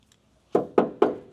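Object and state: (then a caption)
Damped steel car door panel, dull thud. Three quick knocks on the steel inner skin of a 2nd-generation Camaro door, fitted with sound-deadening insulation pieces to stop drumming, each give a short, dull thud around 400 Hz that dies away fast. The damped panel no longer drums, showing the deadener works.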